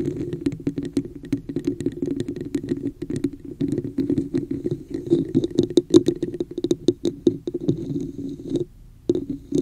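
Long nails tap and scratch the sides and top of a hollow red textured plastic cup placed over the microphone. The result is a dense run of quick, dry clicks with a hollow, boxy resonance and bright scratchy edges, broken by a brief lull near the end before the tapping resumes.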